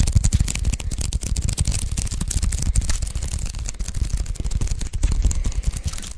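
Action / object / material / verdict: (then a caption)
tap / adhesive paper lint roller / adhesive paper / none. Fingertips tap and peel on the white adhesive paper roll of a handheld sticky paper lint roller. A dense, continuous run of quick sticky taps and crackling peels sounds mostly as low thumps with faint bright crackle above.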